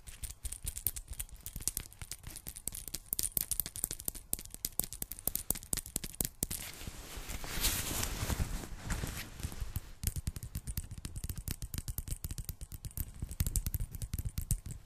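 Long painted nails scratch and tap across a worn, dark quilted nylon puffer jacket, soft and padded, near the sleeve and the snaps. Quick, dry ticking taps and crackly scratches run almost nonstop. Around the middle they give way to a longer, smoother swishing rub before the rapid tapping returns.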